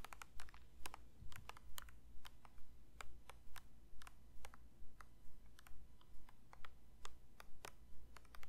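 A plastic lotion bottle is lightly tapped with the fingers, giving short, dry, bright clicks in a steady, even rhythm. The taps are quiet over a constant low hum.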